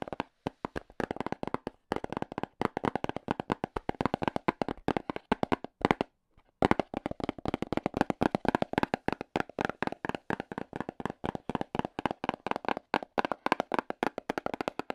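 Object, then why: Small cardboard box tapped with AA battery ends. AA battery tips worn on the fingers rapidly tap a small, hollow, black printed cardboard box. The result is a dense stream of dry, hollow clicks that stop briefly around the six-second mark before resuming at the same quick pace.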